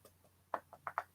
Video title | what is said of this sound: Teresa's Live Express Party 6.21.21 | See how it's hard? Like you hear me knocking on it? So it's like a solid that you make into a paste.